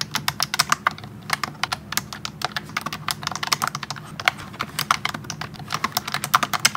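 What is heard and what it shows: Both hands type continuously with their fingertips on a pink plastic wireless keyboard with round typewriter-style keycaps, which sits in front of a tablet. A fast, steady stream of short, bright, clicky keystrokes rattles out, each tap dying away almost instantly.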